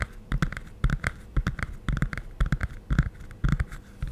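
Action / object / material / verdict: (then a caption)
tap / hardcover cardboard picture book / cardboard / none. Fingertips and nails tap and scratch the cover of a closed, medium-sized glossy hardcover cardboard children's picture book held upright. Quick, dull, low thuds come in loose, uneven clusters, each with a short scratchy click on top. Every hit dies away almost instantly.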